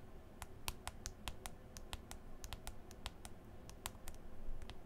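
Long green acrylic nails tap repeatedly on the glass touchscreen of a smartphone in a white folio case. Sharp, bright, dry clicks sound in an irregular stream, each dying away almost instantly, over a quiet, steady low rumble.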